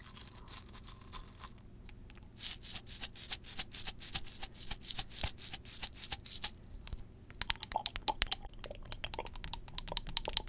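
Long jeweled acrylic nails tap a small glass perfume bottle of amber liquid held close to the mic. A long run of quick, bright clicks carries a high glassy ring. After a brief pause near the seven-second mark, the taps return sharper and louder.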